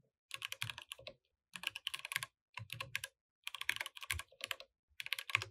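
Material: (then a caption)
Plastic. Both hands type with fingertips on a compact mechanical keyboard with plastic keycaps while the mouse sits idle. Quick, bright, dry clacks come in five short bursts separated by brief pauses, and each keystroke stops at once with no ring.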